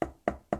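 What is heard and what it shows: Three knocks on a wooden table, each a short, dry, mid-pitched tap that dies away quickly, as heard through the air.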